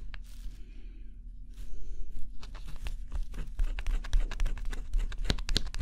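A small tool held in the fingertips scratches the black coating off a flat, assembled cardboard scratch-off jigsaw puzzle with a forest and bear picture, its thin solid pieces lying on a table. Soft scratching and crinkling strokes start sparse, then grow denser and louder, coming in quick, irregular bursts that reach bright, high frequencies. Throughout, a steady low hum sits underneath.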